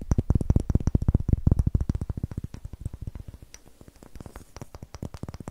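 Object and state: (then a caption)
Wooden block being tapped. A solid, light wooden block with rough end grain is held over the mic and tapped and scratched with long nails and fingertips. Quick, irregular, dull low taps with almost no ring come first, then grow softer and mix with faint scratching toward the end.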